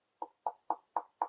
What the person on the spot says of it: I also will show you I'll knock on the cabinet. They're really sturdy. They don't sound hollow at all.